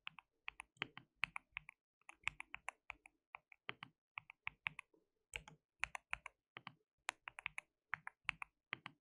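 Fingertips of both hands type continuously on a white mechanical keyboard with plastic keycaps. The result is a steady stream of quick, bright clacks with almost no ring and little low end, in short bursts separated by brief pauses.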